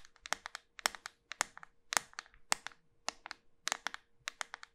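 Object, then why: Small round bar of soap. Long white nails tap the flat face of a small, solid, round pink soap bar with a pearl-bead rim as it is held up. The result is a quick, uneven run of dry, crisp clicks, bright with almost no low end and no ring after each tap, over a faint steady hum.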